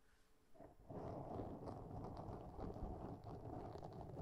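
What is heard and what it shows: Long nails on both hands scratch a black foam windscreen on a microphone. After a quiet start, a dense, rough rustling builds in just before one second and carries on steadily to the end. The sound is muffled and low, with almost no bright top.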